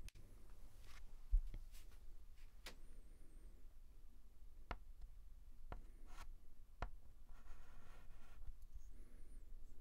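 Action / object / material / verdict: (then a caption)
scrape / chalk stick on a blackboard / chalk / none. A white chalk stick is stroked across a large flat blackboard in a quiet, close setting. Soft scratchy strokes mix with sharp taps and faint high squeaks, over a low background rumble.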